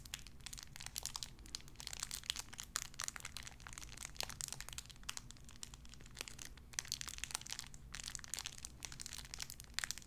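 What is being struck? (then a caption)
Thin clear plastic bag. A small clear plastic bag wrapped around a tiny white figurine is crinkled and squeezed between fingertips with long red nails. Dense, bright crackling and crinkling with many sharp snaps runs throughout over a steady low hum.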